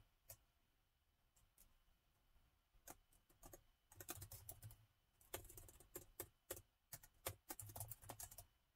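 Fingertips of both hands type on the black plastic keys of a gold laptop. A few scattered, quiet clicks open the clip, then the typing builds into denser bursts of short, sharp taps, each with a bright tick over a soft low thud and almost no ring.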